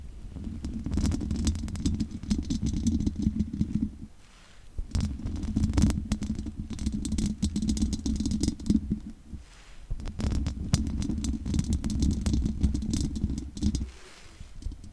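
Long nails scratch the sides of a large condenser microphone's hollow metal mesh grille. The result is a dense, low, rumbling rasp centred around 200 Hz, with very little high content. It comes in three sustained bursts separated by brief quieter pauses near 4, 10 and 14 seconds.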